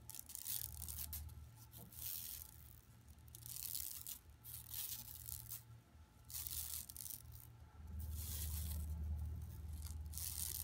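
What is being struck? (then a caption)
Woven plastic mesh bag scratched with fingernails. Long nails scratch across a flat, empty, yellow woven plastic mesh tote bag lying on carpet. Bright, dry rasping bursts swell and fade in a steady back-and-forth rhythm over a constant low hum.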